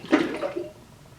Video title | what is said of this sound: Blues Hog Tennessee Red BBQ Sauce Clone | very similar but this is a little deeper